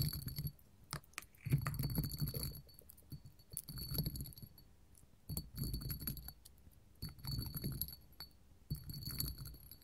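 A small, clear, hollow hobnail glass candle holder standing on a table is tapped with long gold metal finger claws. Bursts of quick, irregular tapping come in clusters separated by short pauses, with a soft low thump under short, bright glassy clinks that fade almost at once.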